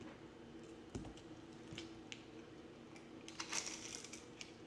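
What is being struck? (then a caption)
Bar of soap. A yellow-handled box cutter blade scrapes and carves flakes from a hand-sized solid bar of pale green soap with a blue rim, held in the palm. Quiet, crisp scratching and flaking ticks come through with bright, high-pitched hiss over a soft low hum. The brightest, loudest cuts cluster near the end.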